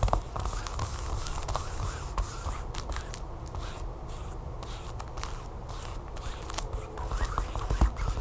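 Long nails scratch and tap the smooth back of a flat, sealed plastic tablecover package with a barcode label, lying on a table. A steady, soft scratching runs throughout, dotted with quick, light taps and faint bright crinkles over a low, dull body.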